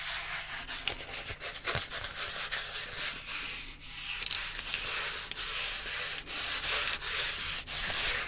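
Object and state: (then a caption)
Cardboard sheet scratched. A flat rectangular brown cardboard piece, held in both hands, is scratched and rubbed with fingertips and short nails. It makes a steady, dry, bright scratching hiss, with several sharper scrapes and clicks along the way.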